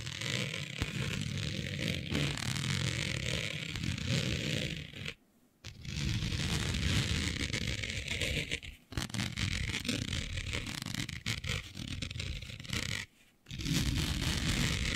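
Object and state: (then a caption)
Synthetic fabric being scratched. Long nails of both hands scratch across smooth synthetic space-print fabric with a planet pattern, laid flat. The result is a steady, dense rasping scrape with a low rumble and a bright, hissy texture. It pauses briefly three times, near 5, 9 and 13 seconds, before resuming.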